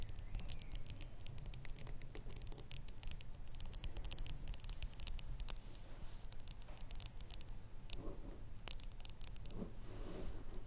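Long nails tap and scratch the outside of a small, hollow, red ribbed ceramic jar with a lid, standing on a wooden table. Quick, bright clicking taps mix with scratchy rasps over a steady low hum, each tap dying away almost instantly.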